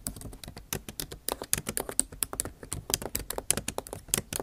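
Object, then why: Laptop keyboard with plastic keycaps in an aluminium body. Rapid typing with long nail tips on a backlit MacBook Pro keyboard, its plastic keycaps set in an aluminum body. A quick run of light, dry clicks and taps with bright, high edges and almost no ring, around 29 distinct strikes in four and a half seconds.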